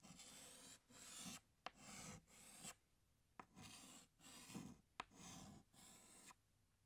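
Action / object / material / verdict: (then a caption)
scrape / chalk stick on a chalkboard / chalk / none. A hand scratches a green chalk stick across a large, flat black chalkboard in long drawing strokes. About eight separate rasping, gritty strokes are heard, each a burst of bright hiss with brief quiet gaps between them. A few sharp clicks from the chalk tapping the board are mixed in.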